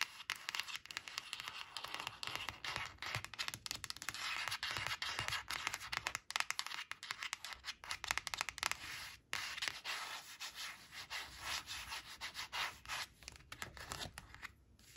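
Fingertips and long nails rub and scratch rapidly across a thin coated paper flash card printed with "2 two" that rests on cloth. The dense, crackling scratches are bright and hissy with almost no low end, and they run almost continuously with a brief break near the middle before thinning out at the end.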